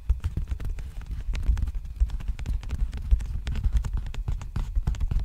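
An empty, large black padded bubble envelope with a textured plastic surface is held sideways and tapped and scratched with fingertips and nails. The result is a rapid, continuous run of soft, dull, low-pitched taps, each dying away almost instantly, with faint scratchy ticks between them.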